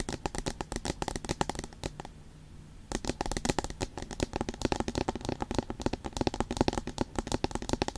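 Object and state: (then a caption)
Aluminium tablet back. Long pointed nails tap and scratch across the smooth, flat aluminium back of a tablet-size iPad with the Apple logo, making rapid, dense, crisp clicks. A brief quieter stretch of soft scratching comes near the two-second mark before the fast tapping resumes.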